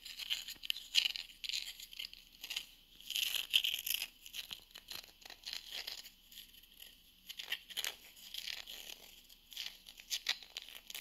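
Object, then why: Round wooden coaster. Long nails scratch and tap the textured face of a small, flat, solid round wooden coaster held in the hand. The result is a steady stream of bright, dry scraping and crisp ticking bursts, with almost no low end and no ring after each touch. The activity comes in clustered waves with brief quieter gaps between them.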